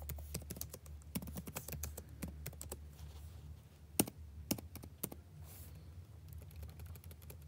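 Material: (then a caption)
Plastic. Fingertips tap slowly and unevenly on the plastic keys of a backlit laptop keyboard, producing short, dry clicks at roughly two per second over a steady low hum. Some keystrokes near the middle land noticeably harder and sharper than the rest.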